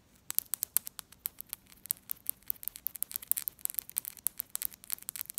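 A bimetallic Egyptian one pound coin, a small solid metal coin with a silver-coloured ring and gold-coloured centre, is held up between the fingers while long acrylic nails tap and scratch its face and rim above a glass table holding other untouched coins. Rapid, sharp, bright clicks with almost no ring come in quick irregular bursts over a faint hiss, with light scraping between them.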